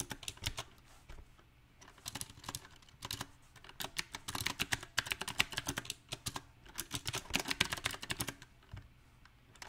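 Both hands type with their fingertips on a backlit compact Magicforce 68 mechanical keyboard, which has round typewriter-style plastic keycaps on a solid silver metal frame. Bright, sharp key clicks come in uneven bursts of quick keystrokes separated by short pauses. Each click dies away almost instantly, with little low end.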